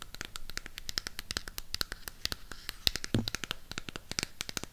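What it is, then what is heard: Cardboard palette case. Long pink nails tap and scratch the back surface and edges of a burgundy Harry Potter cardboard eyeshadow palette. Quick, dry, bright clicks and scratchy rasps come in a dense, rapid stream, with one heavier low thump a little past the midpoint. Each tap is very short and dies away almost at once.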